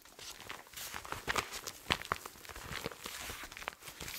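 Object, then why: Fabric-covered soft body armor panel. A large, flat black soft body armor panel with a nylon fabric cover and a solid layered insert is held upright in front of the mic and tapped and scratched with fingertips and short nails. Quick, dry taps mix with scratchy, bright fabric rustling. The sound has little low end and dies away almost instantly after each touch.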